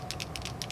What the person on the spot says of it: there's a little shaker ball inside of it and the purpose of that is to mix up the glitter with the pigment ink